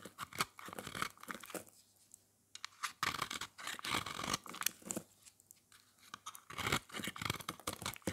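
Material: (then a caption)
Soap. An oval, solid, orange-painted dry soap bar is held in the hand while a metal blade shaves and scrapes it. Bursts of crunchy, crisp scraping and tearing sounds, bright and dry, are separated by brief quiet pauses as crunchy shavings come off.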